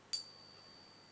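A genuine silver coin balanced on a finger is tapped once for the ping test, giving a sharp metallic strike followed by a long, sustained high ring, with a fainter overtone that hangs on to the end. This lingering ring marks it as true silver.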